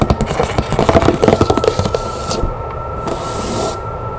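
Long nails tap and scratch the top and side of a large, hollow, rectangular patterned cardboard box with a metallic print and its lid on. About 14 quick, dull taps come first, then a steady scratching rub with a soft, bright hiss toward the end.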